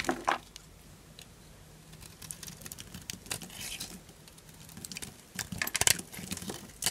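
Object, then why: Bar of soap. A solid lilac Duru bar of dry soap is held in the hand and scraped and cut with a small purple-handled knife. The result is a string of dry, crisp scraping and crunching sounds with bright, crinkly detail. The clip opens and closes with louder bursts, and the quieter passages in between carry softer shaving noise.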